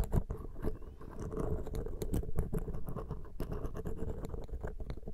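A thin metal ear pick scratches steadily across the small hollow metal mesh capsule grilles of a Zoom H6 X/Y microphone. The result is a dense, close, rumbly scratching with quick, dry ticks and rasps that do not ring, heavy in the low end, holding a fairly even level throughout.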